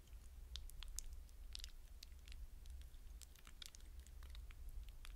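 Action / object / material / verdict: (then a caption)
scrape / hydrogel water beads in a glass bowl / hydrogel / none. Fingertips stir and rub wet blue hydrogel water beads in a glass bowl. Soft, quiet, squishy clicks and tiny wet crackles come in rapid, irregular bursts, bright and short with no ring. A steady low hum sits underneath throughout.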